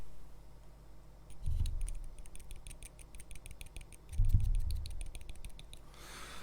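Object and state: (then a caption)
Fully hardened super glue gap fill. A hobby knife taps rapidly on cured cyanoacrylate super glue filling the slot in a plastic miniature's base after it was set with CA activator. It makes a quick run of light, sharp clicks with two duller low thumps under it. The fill is hard and firmly set, a safe surface for adding texture materials.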